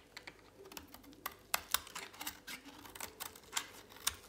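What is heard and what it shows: A utility knife blade shaves a thin remaining piece of dry, solid pink soap held in a hand. It makes a quick, uneven series of short, crisp scraping clicks that are bright and dry. Each one stops instantly with almost no low end or ring.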